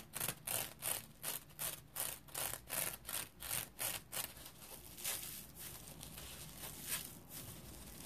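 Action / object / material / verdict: scrape / mesh-covered foam scrub sponge / synthetic mesh / none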